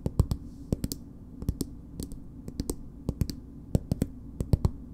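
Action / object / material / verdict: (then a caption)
tap / plastic cosmetic squeeze tube / plastic / none. Long nails tap and scratch a green plastic BB cream squeeze tube, producing a run of short, dry clicking taps at an uneven, unhurried pace. Each tap is a crisp, quickly damped click with a dull low body, over a steady low background hum and faint soft scratching between hits.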